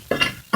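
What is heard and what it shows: Three quick taps on a spot of rock in mine workings, each a short, bright knock with ringing overtones around 2.8 kHz that fade quickly. The rock sounds hollow, meaning it is loose and needs scaling down.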